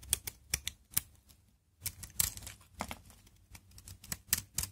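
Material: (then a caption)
Soap. A utility knife blade scrapes and carves brittle flakes off one face of a solid, hard, dry brown Aleppo soap bar held in one hand, piling shavings on the palm. Short, sharp, bright crackling scrapes come in uneven bursts with a brief quiet gap in the middle. Each one is dry and clicky with almost no ring.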